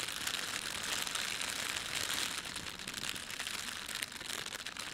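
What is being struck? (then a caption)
Thin plastic bread bag. Fingertips of both hands press, rub and crumple a thin, empty red printed plastic bread bag lying on a table, with a white plastic layer underneath. A continuous, bright crinkling fills the clip, made of many quick overlapping crackles with almost no low end and only small dips in level.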